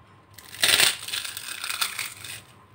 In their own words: तो आवाज से पता चल रहा है ना कितने क्रिस्पी पापड़ बनके तैयार हुए हैं